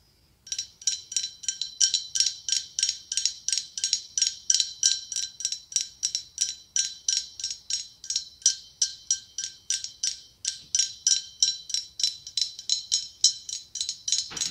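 Fingernails tap rapidly and steadily on a hollow, ribbed, white blown-glass pumpkin with a gold stem. The taps come in quick clusters throughout, each giving a bright, high, ringing glass tone that fades almost at once.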